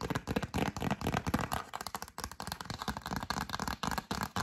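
Long acrylic nails tap and scratch the front of a glossy yellow cardstock greeting card held in both hands. Quick, irregular clicking taps blend with papery scratching in a dense, crackly stream. A brief quiet pause comes near the middle before the tapping resumes.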